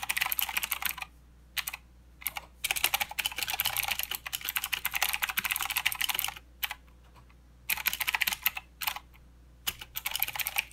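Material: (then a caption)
Plastic. Both hands type with their fingertips on a full-size mechanical keyboard with plastic keycaps and blue clicky switches. Rapid bursts of bright, sharp clicks arrive in flurries broken by several short silent pauses, and each click stops almost instantly.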